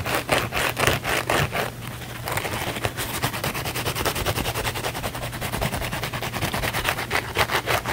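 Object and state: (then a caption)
Scouring sponge scratched with fingernails. Fingernails scratch fast and aggressively across the scouring-pad side of a small blue cellulose kitchen sponge held in the hands. Rapid rough scraping bursts come quick and uneven, roughly two per second, with bright, crackly texture. A steady low hum sits beneath the scratching throughout.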